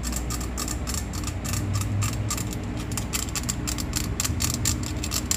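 Long painted nails scratch and tap rapidly across the raised grating holes of a hollow stainless steel box grater with a perforated flat face, held upright in the hands. The sound is a continuous stream of quick, dry ratcheting clicks with bright, high metallic ticks riding over a steady low rumble.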